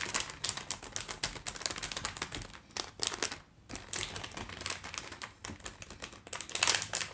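Long acrylic nails rapidly tap and scratch a single sealed clear-and-printed plastic stir-fry noodle pouch with a block of noodles inside, lying on a wooden tray. Quick, sharp, bright clicks mix with crisp plastic crinkling, with a brief lull midway. A louder burst of crinkling near the end comes as the pouch is flipped over.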